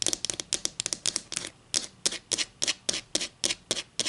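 Long green and black acrylic nails scratch and rub along the edge of a solid, flat wooden ruler held just above a table. About 19 short, bright, hissy scrapes come in an uneven rhythm, with quick clustered strokes at first and then more evenly spaced ones. Each scrape is crisp and dry and stops almost instantly, with very little low end.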